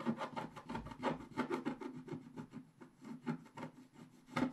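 A wooden stylus scratches the upper right area of a flat black-coated scratch-art paper sheet while the other hand steadies the sheet. About thirteen short, dry, rasping strokes follow one another in a quick, uneven rhythm. Each has a mid-pitched scraping texture with little low rumble.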